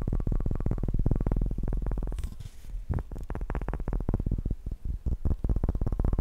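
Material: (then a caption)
Wood. A bowling pin is tapped fast and aggressively, giving a quick, uneven stream of short, deep, hollow knocks with a low tone and almost no ring. Just past two seconds the tapping briefly drops to a softer, hissier stretch before the rapid knocking resumes at full force.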